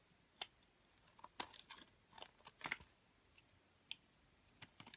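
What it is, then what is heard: Bar soap being cut. A metal utility blade cuts and scrapes a solid white bar of soap, held in a long-nailed hand, into small flaked cubes. The result is a quiet series of crisp, bright crackling snaps and scrapes. Each one dies away almost instantly and carries very little low end.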